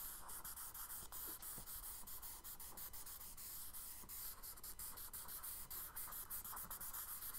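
A charcoal stick held in the fingers is stroked across the tan kraft paper page of a spiral-bound sketchbook lying flat on a dark wooden desk, shading water beneath a paper-boat drawing. Quick, repeated scratchy rubbing strokes give a steady, bright, papery hiss with brief dips between strokes over a faint low rumble.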